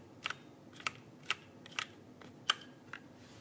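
Fingertips type on the plastic keycaps of a backlit mechanical keyboard held flat in front of the body. Nine sharp, bright plastic clicks arrive at an uneven pace, some in quick pairs, with a pitch centered around 3 kHz. Each click dies out almost instantly over a faint hiss.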